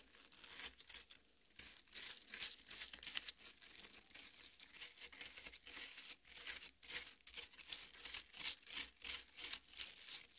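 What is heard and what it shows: Long painted nails on both hands scrape and dig into the red, juicy flesh of a large, solid cut watermelon half with green rind, resting on a metal plate. The result is a quiet, steady stream of wet, crunchy scratching and crinkling, with irregular bursts of bright, hissy texture and almost no low end.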